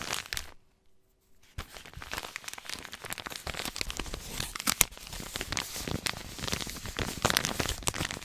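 A white paper compress pouch is crinkled and rubbed with fingertips. A short burst of crinkling is followed by about a second of near silence, then dense, bright crackling and rustling continues to the end.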